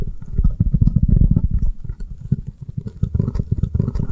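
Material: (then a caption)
Foam. Long nails rapidly tap and scratch the avocado-print face of a round, avocado-shaped foam kitchen sponge held upright in the hands. The result is a dense, fast stream of soft, muffled, low thuds with no ring, and a faint, slightly brighter scratchy texture toward the end.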